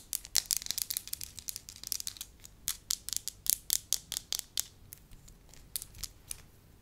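A hand-sized, flattened sheet of pliable, solid beige wax is handled, crinkled and scratched with long lilac acrylic nails and fingertips. The result is a rapid series of sharp, bright crackling clicks and scratchy taps with almost no low end, each dying away instantly.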